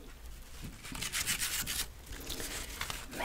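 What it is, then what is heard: Paper book-page pumpkin being rubbed. A hand-held decorative pumpkin made of hollow, layered folded book pages, with a twig stem and twine, is rubbed and brushed with the fingertips and long nails. The result is a soft, dry, papery rustling with bright, hissy high-frequency swells that rise and fall unevenly throughout the clip.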